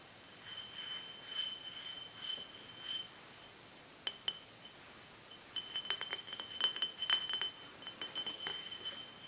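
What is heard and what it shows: Nails and fingertips tap a large, empty-looking dark glass mead bottle with a paper label. Bright, clear glassy clinks ring at a high pitch near 3 kHz: soft, scattered taps at first, then two sharp clinks, then a quick, busy run of louder taps toward the end.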